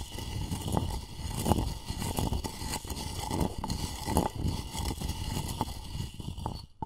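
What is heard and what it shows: A wooden pestle scrapes around the inside of a light, hollow wooden mortar that appears to be empty. The result is a steady, low, rough grinding and rasping with scattered sharp clicks and knocks. It continues for about seven seconds, then drops away at the end.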